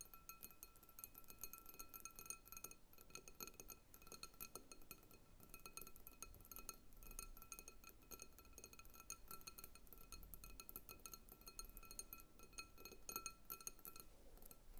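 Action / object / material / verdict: tap / glass bowl filled with water beads / glass / none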